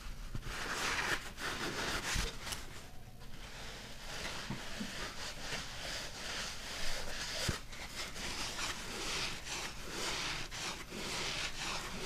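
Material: Nothing is struck.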